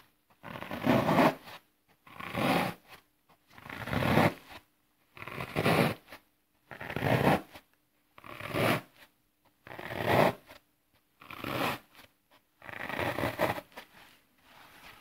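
Fingertips push into the face of a flat green floral foam block lying on grass, punching holes into the solid porous foam. Each press gives a short, dry, crackling crunch that spreads from low into bright tones, heard as about nine separate bursts with short silent gaps between them.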